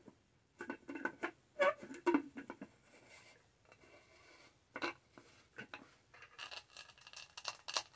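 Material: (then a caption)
Plastic. Long nails tap and scratch the textured lid near the straw of a tall, black, studded, hollow plastic tumbler. Quick, dry, uneven taps with no ring cluster in the first half, then a quieter stretch gives way to brighter, hissy scratching bursts toward the end.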